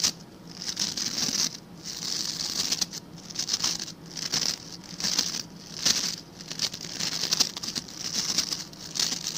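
Fingertips and nails scratch across the stiff white and blue plastic bristle tips of a hand-sized blue plastic scrub brush. The result is a series of dry, bright, crackly scratching bursts that swell and fade in a steady rhythm, with almost no low end and a faint low hum underneath.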